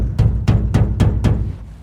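Five hollow, drum-like booms come from banging on the steel fuel tank of a 39-year-old Ford F150 that cranks but won't start. The strikes are deep and low, with a pitch around 120 Hz, and each fades quickly. The booming shows the tank is empty, so gas must be added before continuing the diagnosis.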